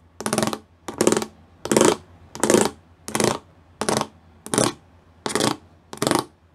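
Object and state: Studded plastic panel.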